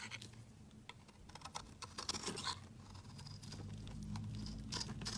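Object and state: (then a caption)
Soap bar scraped with a blade. A metal utility-knife blade scrapes flakes off a large, rectangular, solid pale yellow citrus-lime soap bar held in the hand. Quiet, irregular, crisp scratching strokes with bright, short ticks sit over a low, steady hum.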